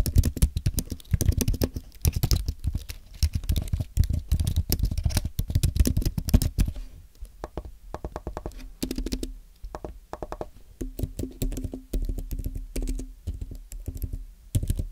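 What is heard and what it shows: Fingertips type and tap on a thin, solid white Apple Magic Keyboard with an aluminum base and plastic keys. A fast, dense run of short, soft, low clicks slows after about seven seconds into sparser, lighter taps. Each keystroke dies away almost at once.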